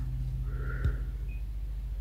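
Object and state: Nothing is struck.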